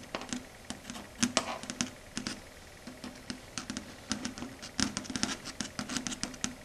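Long red stiletto nail tips tap rapidly on a flat, solid, dark grey chalkboard surface. The result is a quiet, irregular run of short, sharp, bright clicks that die away almost instantly, with a faint low hum underneath.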